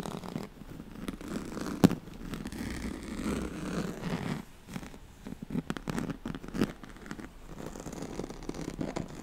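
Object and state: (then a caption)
Woven straw-like fabric mat being scratched. Long nails scratch the ribbed surface and corded edge of a yellow striped, woven oval pad made of a straw-like fabric. The result is a dense, continuous rasping scratch, mostly low and muffled with little brightness. Two sharper, louder scrapes stand out near 2 and 6.6 seconds, with a brief lull around 4.5 seconds.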